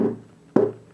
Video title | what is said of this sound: How to/Tips: Spot a good guitar [part 3 of 3] | give it a tap, and listen for the echoing sound. If it sounds like it's a bit off, avoid the guitar.